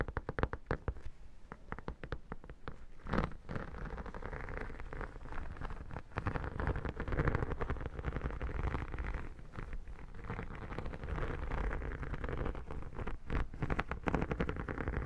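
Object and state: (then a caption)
Textured vinyl photo album cover. Long dark nails tap and scratch the embossed cover of an iridescent textured vinyl photo album lying flat. Quick, dense clicks sit over a continuous low scraping rustle, with the sound weighted heavily toward the low end. The taps come too fast and close together to count.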